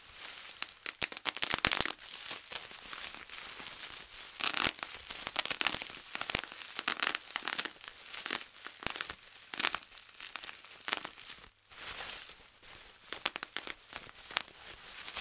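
Both hands squeeze and twist a bunched section of a large, clear plastic bubble wrap sheet. Dense bursts of sharp, bright pops come through over continuous crinkling, with brief quieter pauses between the louder clusters. Bubbles pop throughout.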